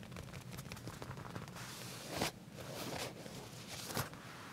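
Short nails scratch and tap the leather just above the back pocket of a pair of black leather pants laid flat. A quiet, steady scratchy rustle spans low to high tones, broken by a couple of sharper, brighter taps that stand out from the scratching.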